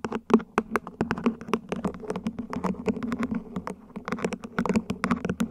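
Long nails rapidly tap the ribs and base of a small, hollow, mint-green ribbed plant pot, probably plastic, set upside down. It makes a quick, uneven run of crisp, hollow clicks with a low resonant tone around 230 Hz. Each tap dies away almost at once.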